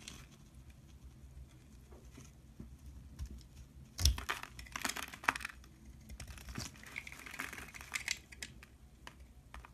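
A utility knife blade carves and scrapes a solid pink bar of soap held in the hand, with shavings falling away. Quiet, crisp scraping and crackling clicks come in short bursts, with sharper cuts around the four- and five-second marks and a brighter, drawn-out scrape near the end.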